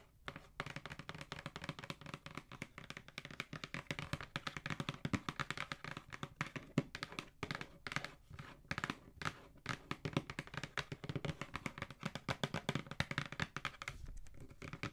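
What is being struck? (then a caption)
Cardboard shoe box. Long nails tap and scratch along the top edge and side of a hollow black cardboard Jordan shoe box held upright. Rapid, dry, short taps with a hollow low thump blend with bright, papery scratching, and each hit dies away almost instantly.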